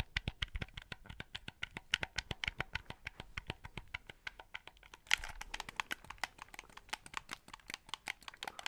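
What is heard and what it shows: Fingertips click the buttons and tap the shell of a white, hollow plastic game controller held close to the mic. Dozens of quick, dry, bright clicks and taps come in a steady stream with almost no ring. Just past the five-second mark a louder, hissier scratch-like burst breaks in before the clicking continues.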